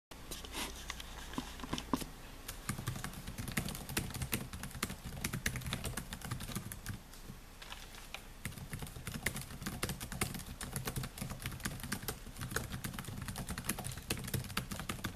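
Fingertips type quickly on the black plastic keys of a silver laptop with a metal-look body, resting on a table. A dense, steady stream of short, crisp, bright key clicks plays over a constant low hum for the whole clip, with a slightly quieter stretch midway.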